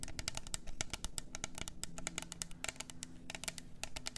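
Long nails rapidly tap and scratch the sides of a hollow, double-walled plastic glitter tumbler cup. Dense, dry, bright clicks follow one another closely with almost no ring, over a steady low rumble underneath.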